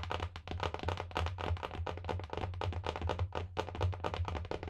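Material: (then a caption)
Cloth and board. Long painted nails and fingertips tap rapidly on a large, solid, closed hardcover book with a marbled paper/cloth cover, held close to the microphone. The result is a dense stream of short, dry, clicky taps with very little ring, over a steady low hum.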